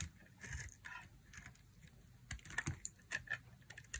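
A hand-sized, solid white bar of dry soap held in the fingers is carved repeatedly with a thin black blade, shaving off flakes. Each cut makes a short, dry, crunchy scrape with bright, crisp crackle and little ring, and the later cuts come sharper and more closely spaced.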